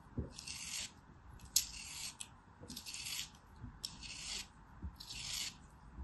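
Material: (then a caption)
Sand. A black craft knife carves and scrapes a small, solid molded block of beige kinetic sand held in the hand, crumbling the sand away. Five bright, hissy scraping strokes are heard, each with a soft low tap as the blade starts, separated by short quiet pauses.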